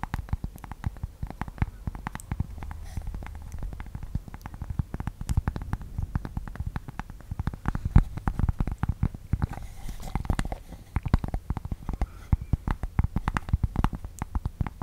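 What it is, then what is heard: Cork board. Long nails scratch and tap quickly on a thin, solid, flat rectangular cork board held close to the microphone. The result is a dense, steady stream of short, dull, low thumps and scratchy clicks with almost no high or bright tones, each hit dying away instantly.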